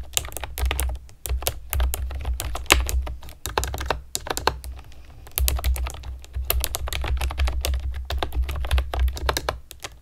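Long nails type quickly on a pastel plastic keyboard with round keycaps, making rapid bright clicks and taps. The typing comes in bursts separated by short pauses, over a steady low hum.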